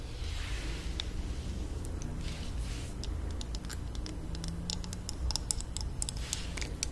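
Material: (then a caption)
Plastic. A small, hollow pink plastic mini hair straightener is held up and tapped rapidly with long nails. The taps come through as quick, light, bright clicking over a steady low background hum, with no ring after each tap.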